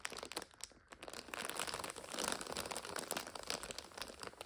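A full purple and red multipack of five instant noodle packets in a plastic overwrap rests on a sofa while long nails and fingertips scratch, tap and squeeze it. The plastic gives off a dense run of bright crinkles, crunches and sharp taps that keep going, briefly easing off just before the one-second mark and swelling to their fullest around two seconds.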